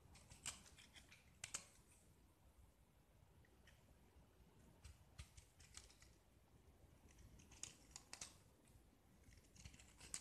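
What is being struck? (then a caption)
Painted gypsum block scraped with a metal blade. A metal utility-knife blade carves and scrapes a small, solid, rounded gypsum block with a blue-painted surface, peeling off curls of white plaster. Quiet, dry, bright scratching and sharp crisp cuts sound in irregular bursts over a low, soft rumble, with each scrape stopping almost at once.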